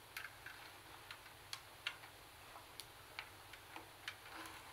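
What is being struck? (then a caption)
Plastic CD cassette boombox. Long nails tap and click on the top buttons and the plastic body above the speaker grille of a black plastic hollow CD cassette boombox. Eleven quiet, sharp, bright clicks come at an irregular pace, each dying away almost instantly over a soft hiss, with a faint scraping rustle near the end.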